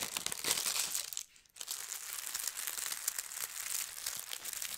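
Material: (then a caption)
Paper. Fingertips with long red nails press and smooth a thin holly-print tissue paper sheet on a table, producing a dense, bright crinkling. The rustle pauses into near silence for a moment just past the first second, then resumes with steady crinkles to the end.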